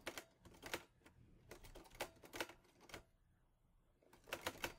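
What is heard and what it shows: Fingertips type on the keys of a teal metal Olivetti Lettera 22 portable typewriter, producing sharp, bright clacks in quick bursts. Each strike is dry with almost no ring, and the typing pauses briefly before a final cluster of keystrokes.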